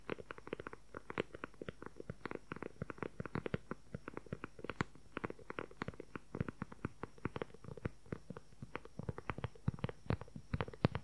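Fingernails tap rapidly and continuously on the cover of an upright, dark brown leather-covered journal with a strap and snap. The taps are quick, soft and dry, with a dull low-mid thud, no ringing, and an uneven rhythm that runs through the whole clip.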